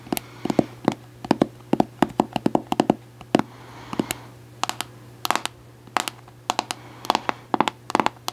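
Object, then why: Plastic cosmetic jar with plastic lid. Long acrylic nails tap quickly on the orange plastic lid and body of a medium white plastic Cantu conditioner jar that seems full. The sound is a run of sharp, dry, clicky taps in quick bursts and single strikes, each dying away almost at once, with a hollow plastic tone over a steady low hum.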